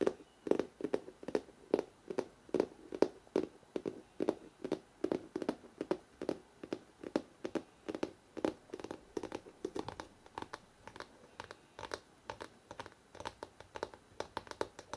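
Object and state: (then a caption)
Hardcover book, glossy cover. Fingertips rapidly tap the glossy front cover of a large, solid hardcover photo book, producing 64 quick, dry taps with a midrange knock around 400 Hz. The taps die away almost instantly with no ring, leaving a soft, steady patter.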